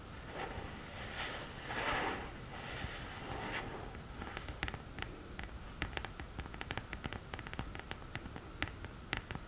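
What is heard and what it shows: Long green nails scratch the printed, upright cardboard lid of a hollow "Love Disco" eyeshadow palette case, making soft, breathy rasping swells for the first few seconds. The nails then switch to tapping, producing a rapid, uneven series of sharp, dry clicks on the cardboard until the end.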